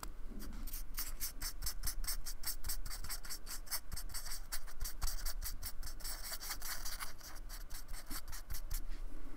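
A thin paintbrush with a metal ferrule is stroked and scratched across the rough beaded surface of a small, flat, solid white expanded polystyrene (styrofoam) square while painting; the square sits on a wooden table, held by fingertips. Quick, repeated dry strokes make a bright, rasping scratch over a steady low rumble, continuing evenly throughout.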